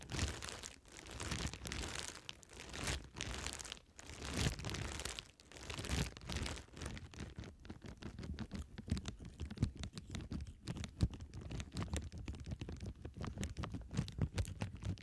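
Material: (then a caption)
Plastic. A clear plastic bubble wrap sheet of air-filled bubbles is held upright in both hands while long red nails scratch, tap and pop the bubbles. The first few seconds bring swelling waves of bright crinkling and scratching, followed by a long run of quick, dry taps and sharp little pops with a low thumping body.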